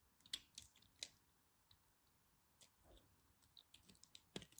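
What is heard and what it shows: A craft knife carves chunks off a small, solid piece of pink striped bar soap held partly hidden in the fingers. Quiet, crisp, bright cutting clicks and soft crumbly scrapes come at an irregular pace, each short and dry with almost no ring.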